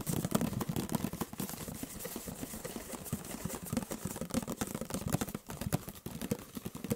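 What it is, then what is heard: Paperboard juice carton. Fingertips and nails rapidly tap and scratch the printed sides of a hollow, orange-and-white paperboard juice carton of about a litre, held in one hand close to the microphone. The quiet, dry taps come fast and unevenly, each with a short hollow thud low in pitch and almost no ring, mixed with a faint scratchy rustle.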